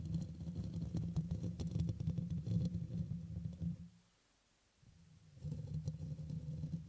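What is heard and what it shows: Fingertips and nails scratch and rub the black metal mesh grille of a red microphone, which is hollow, before the hands cup around it. The result is a dense, boomy scratching and rustling that sits almost entirely in the low range with a steady low hum. The sound drops to near silence around the fourth second, then the same low rubbing returns at the end.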